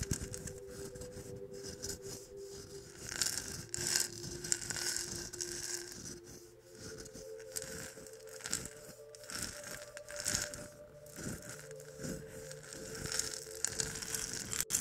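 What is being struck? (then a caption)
Small gourd maraca. Fingertips and nails tap and scratch the carved, painted shell of a single small hollow gourd maraca held close to the microphone, possibly rattling the seeds inside. The result is a dense, bright stream of crackly scratches and quick soft taps, with a faint steady low tone underneath.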